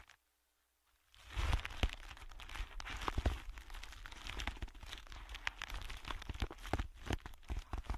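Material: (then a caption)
Plastic. A thin, clear plastic bag or film, hollow and empty-looking, is held in both hands and crinkled and squeezed with bare fingertips and short nails. After about a second of silence, a dense, continuous crinkling begins, full of sharp crackles and snaps over a heavy low rustle. It keeps going steadily to the end.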